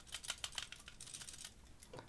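An HG plastic model kit is shaken, producing a quick series of light, dry plastic clicks and rattles from its legs. The rattling is normal and no worse than that of a comparable kit; the legs rattle because they are the heaviest part of the body.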